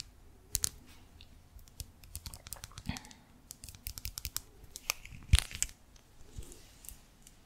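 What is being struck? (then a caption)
Small hard plastic lip gloss tube. A small pink lip gloss bottle of hard plastic, with a clear body and a pink cap, is held near the mic and tapped and scratched along its length with long nails. The result is a quiet, irregular stream of sharp, bright plastic clicks and dry scratching, with one louder tap about two-thirds of the way through.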